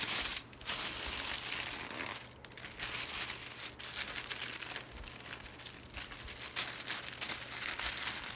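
Fingertips grab, lift and crinkle a large sheet of thin white printed tissue paper inside a cardboard box. The result is a steady, bright, papery crackle of dense overlapping crinkles with brief dips between handfuls and almost no low end.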